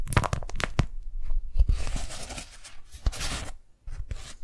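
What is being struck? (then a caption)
Beeswax-coated cotton food wrap. Fingers fold a pink daisy-print beeswax-coated cotton food wrap held up close, then peel and pull its stuck halves apart. Quick crinkly, crunchy crackles with soft low thumps come first, followed by longer sticky, tearing rustles that fade to near silence before a last brief crinkle.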